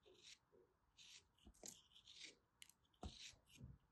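A small, solid molded block of orange kinetic sand, held in both hands with dark long nails, is cut and scraped with a small black plastic knife. Quiet, crisp, bright scraping and crumbling bursts come at an irregular pace, with soft dull low thumps under some strokes.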